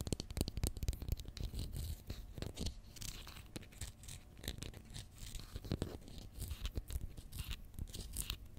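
Long fingernails tap and scratch a small Pritt glue stick, a capped plastic tube filled with glue held in the fingers, which is turned sideways at the end. The result is a dense run of quick, dry clicks and scraping rustles with a low body and bright scratchy edges.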